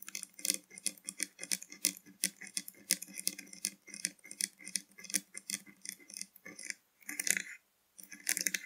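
Long nails on both hands rapidly tap and scratch the plastic cap and neck of a full blue PRIME plastic drink bottle lying pointed toward the camera. The result is a dense run of bright, dry clicks and scrapes with no ring, pausing briefly before a final burst of taps.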